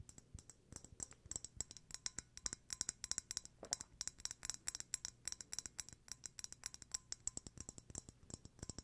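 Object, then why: Glass candle jar with lid. The black lid of a small glass candle jar filled with white wax is clicked and tapped with fingertips and nails. A quiet, rapid run of dozens of short, bright clicks and taps follows, each dying out instantly, with very little low end.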